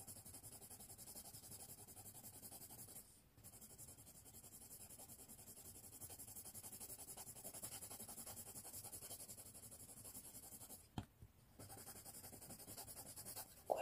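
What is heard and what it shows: A yellow colored pencil rubs and scratches across a thin white paper sheet lying flat on a wooden tray, held down by one hand, while shading. The quiet, steady, rapid scratching strokes pause briefly around 3 seconds and again near 11 seconds. A short sharp tap comes before the second pause, and another comes at the very end.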